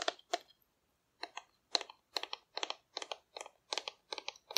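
Long nail tips tap on a hollow painted cardboard dinosaur figure held low. The result is a series of crisp, dry, papery clicks, bright and thin with no low end. Each tap dies away almost instantly, and there is a brief pause after the first two before the tapping resumes at a steady, uneven pace.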